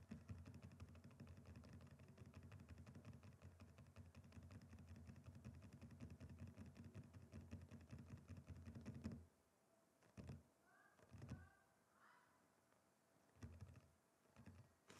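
Fingertips of both hands resting on a large, flat, solid wooden chopping board tap rapidly across its surface as if typing, making a dense, dull, low-pitched patter of quick knocks. After about nine seconds the tapping stops abruptly, leaving near-quiet broken by a few scattered soft taps and faint, brief high chirps.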